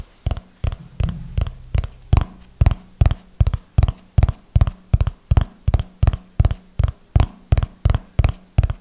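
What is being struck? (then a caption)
Small hardcover notebook with paper pages. Fingertips and nails tap on the top edge and pages of a small, solid red hardcover notebook with tabbed paper pages, held in one hand. Twenty-five short, dull, low thuds land in a steady, slow rhythm, each dying away almost instantly with a faint bright click on top.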